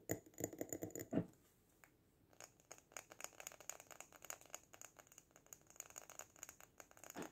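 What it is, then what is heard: Glass jar with sand and artificial plant. A small sand-filled glass jar with lace trim and an artificial succulent is lifted off the table in both hands, with a burst of louder, fuller handling noise at the start. After a short quiet pause, fingertips tap rapidly on the glass, giving soft, dry, bright clicks with a faint glassy tick and almost no ring.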